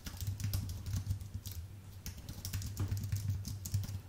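Both hands type with their fingertips on a full-size white Apple Magic Keyboard with an aluminium base and plastic keys. A steady run of soft, quick key clicks with bright ticks sits over a strong low hum.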